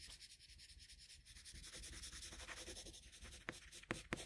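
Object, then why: Paper drawing sheet shaded with a colored pencil. A colored pencil makes short, quick shading strokes on a flat sheet of drawing paper, giving a steady, soft, scratchy rubbing with a bright, papery hiss. Near the end, three sharper, louder ticks stand out from the strokes.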